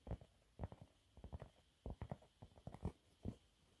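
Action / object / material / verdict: scrape / thin cellulose sponge cloth / cellulose sponge / none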